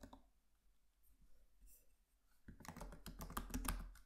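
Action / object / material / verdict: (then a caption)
tap / laptop keyboard, plastic keys / plastic / none. Fingertips of both hands tap on the black plastic keys of a MacBook Pro laptop keyboard with an aluminium body. After a quiet stretch of faint, soft sounds, a rapid, uneven burst of crisp clicking keystrokes starts about halfway through and grows louder toward the end.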